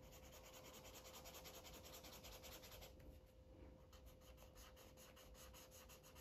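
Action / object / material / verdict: scrape / felt-tip marker on thin paper / paper / none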